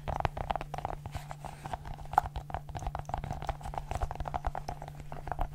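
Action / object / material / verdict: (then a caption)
tap / silicone pop-it fidget ball / silicone / none. A multicolored silicone pop-it fidget ball has its bubbles pressed and popped with fingertips and long nails. It makes a rapid, irregular stream of soft, short pops and dull taps with a faint mid-pitched tone. A steady low hum runs underneath throughout.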